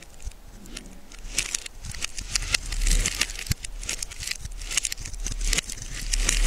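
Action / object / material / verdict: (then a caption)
scrape / bar of soap / soap / none. A solid yellow bar of soap is held in the hand and scraped with a small metal blade, carving it into curled shavings as crumbly flakes pile up. Repeated short, dry scraping strokes crackle with bright, high rasps over a low rumble.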